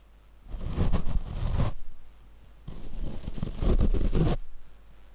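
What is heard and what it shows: Large paint brush bristles are rubbed against a black foam windscreen on a Rode microphone mounted on a tripod. Two separate passes of dense, scratchy brushing are heard, each a deep, boomy rumble dominated by low frequencies with a rustling texture on top. Quiet gaps sit between and around the passes.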